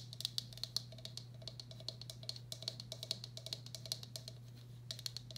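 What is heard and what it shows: Long black acrylic nails tap rapidly on the outer wall and underside of a medium, hollow, empty turquoise speckled glazed ceramic bowl. The result is a quick, irregular patter of light, crisp clicks with a bright, high ping that dies away almost at once. A steady low hum runs underneath.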